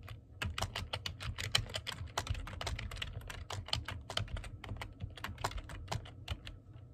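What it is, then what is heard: Plastic computer keyboard being typed on. Fingertips type continuously on the keys of a black plastic computer keyboard, producing a rapid, steady stream of short, sharp clicks and taps. Each keystroke is a bright, crisp tick with almost no ring, over a soft low thud from the keys bottoming out.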